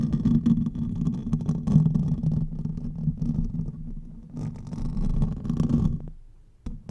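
Fingertips and nails of both hands scratch the hollow metal mesh grille of a silver condenser microphone. The result is a dense, rumbling, scratchy texture concentrated in the low end around 150 Hz. It stays steady for about six seconds with a brief dip in the middle, then fades, followed by a couple of short final scrapes.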